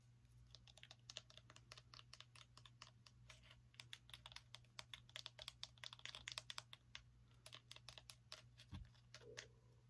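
A small, solid orange pumpkin with a stem is held in the hand and tapped and scratched with long acrylic nails. It makes a quick run of dry, bright clicks and scratches that stop almost instantly, over a steady low hum.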